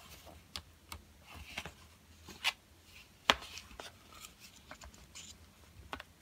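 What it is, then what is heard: Cardboard pencil box. A yellow Crayola cardboard box of 12 coloured pencils, hollow and full of pencils, is held upright and then laid flat on a table and tapped with fingertips. The result is a series of short, dry, papery taps with bright high-end crackle and almost no ring, spaced irregularly over quiet background hiss.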